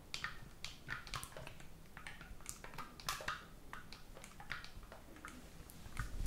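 Fingertips repeatedly press and tap the silver metal keys on a hollow black oboe, held near the chest and face without any blowing. The result is a quiet, irregular run of short, dry, bright clicks that stop almost instantly, over a faint low rumble.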